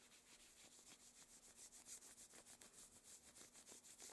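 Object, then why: Satin gloves on skin. Long, thin black satin opera gloves worn on both hands rub and slide over the forearm and against each other. The result is a quiet, steady run of soft, bright swishing strokes at a fairly regular pace, with nearly all the energy in the high range and very little low end.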